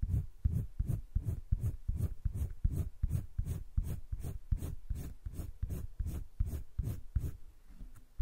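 A light green wooden colored pencil held in the fingertips scratches short strokes along a flat sheet of a spiral-bound drawing paper sketchbook. The result is a quick, somewhat uneven run of soft, dull scratching strokes, nearly three per second, each with a faint bright hiss, stopping briefly near the end before one last stroke.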